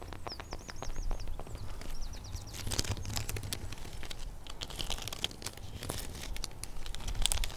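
Long painted fingernails of both hands scratch the rough, cracked bark of a large solid tree trunk, close up, making dense crinkly, crunchy scraping bursts. Bright chirping birdsong is heard in the background, especially near the start, over a low rumbling hum.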